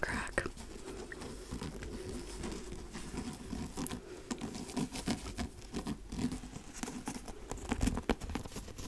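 A dark hardcover book with a cardboard cover is held up and moved around close to the mic while fingertips and nails tap on its cover. The result is a quiet, steady patter of soft, dull taps with a low, woody body, mixed with light scratchy clicks. Each tap dies away almost at once.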